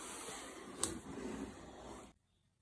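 Bare fingertips rub across a large brown corrugated cardboard box for a Huawei MateBook D16, a hollow box with a carry handle that apparently still holds the laptop, lying flat on a dark desk. A steady, airy scraping hiss runs for about two seconds, with a single sharp tap partway through. The sound then cuts off abruptly into near silence.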